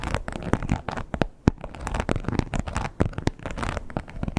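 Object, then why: Croc-embossed leather wallet. Long pointed nails tap and scratch the embossed surface of a red croc-textured leather wallet with a strap. The result is a dense run of dry, crackly scratching broken by sharp, short taps, mostly low and muffled in tone with little brightness.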